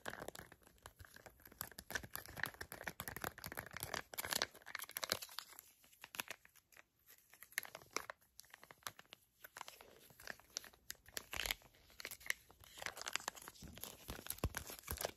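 A small, flat teal Moroccanoil sample packet made of crinkly plastic/foil laminate is crinkled and scratched with long acrylic nails. The result is a dense, quiet stream of bright, dry crackles and scratchy rustles that has many quick, sharp ticks. The crackling thins briefly in the middle and then picks back up.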